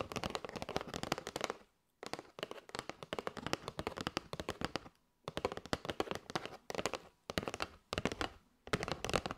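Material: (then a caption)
Cardboard. Long white nails tap and scratch along the top and side edges of a kraft cardboard box of paper straws. Rapid, dry clicking taps with a scratchy edge come in bursts separated by brief silent pauses. Each tap dies away almost instantly, with a papery, hollow tone in the midrange.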